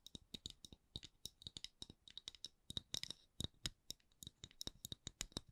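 Long acrylic nails tap and scratch a solid, palm-sized round wooden candle lid with a printed logo, making about 33 quiet, dry, clicky taps at a slow-to-medium pace. Each tap is short and bright with a faint low knock underneath, and soft scratching fills some of the gaps.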